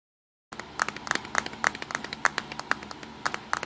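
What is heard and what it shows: A small black plastic Nikon Coolpix compact digital camera, a hollow body with a lens ring, lies on a pink towel and is tapped with fingertips and short nails across its front and lens. After a brief silence comes a quick, uneven run of dry, clicky taps centered around 1.2 kHz with bright edges and almost no low end. Each tap stops dead with no ring.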